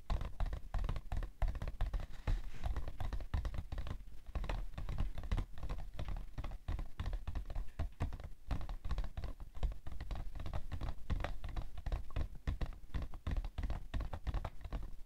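Long nails tap quickly on the side panel of a rectangular printed cardboard tissue box, held upside down with its long side facing out, hollow and probably filled with tissues. The result is a rapid, continuous patter of dull, low thumps that die away almost instantly, with faint scratchy clicks between them.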